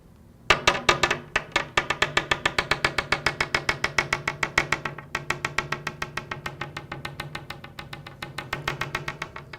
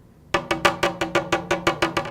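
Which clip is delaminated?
The first.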